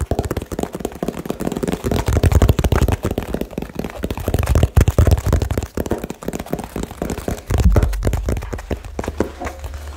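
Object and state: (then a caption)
Cardboard box, hollow. A small hollow cardboard box is tapped extremely fast with fingertips and nails. The result is a dense, continuous stream of short, dull, hollow thuds with a deep low body and very little brightness. Each tap dies away almost at once, with louder bursts around the middle and near the end.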